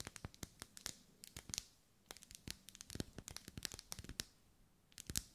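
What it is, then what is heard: Ribbed wax pillar candle. Long nails scratch and tap along the vertical ribs of a lit, hand-held pink pillar candle of solid wax. A quick, irregular series of dry, bright clicks and scratchy ticks, each dying away almost at once, with short quiet gaps between bursts.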